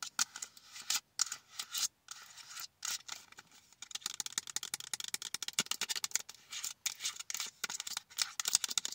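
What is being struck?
Cardboard-backed plastic blister pack.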